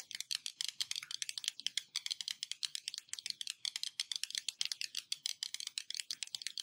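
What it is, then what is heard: Glass surface tapped with fingernails. Fingertips or nails tap rapidly on a glass surface, about 46 quick taps in a steady, uneven patter. Each tap is a short, bright click with almost no low end, and none of them ring.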